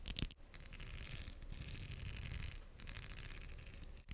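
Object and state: Plastic wide-tooth comb.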